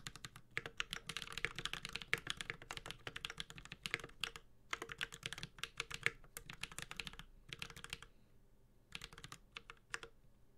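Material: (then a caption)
ABS plastic. A 65% mechanical keyboard with a metal case, a carbon fiber plate and GMK ABS plastic keycaps is typed on with the fingertips of both hands. Steady, rapid key taps come in bursts, each click short and bright with a faint low thud beneath. A few brief pauses break the typing, and a short final burst ends the clip.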